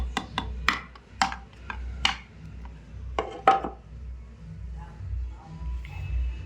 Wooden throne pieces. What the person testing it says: बिल्कुल hard material है। जिसकी आवाज से पता चल जाता है।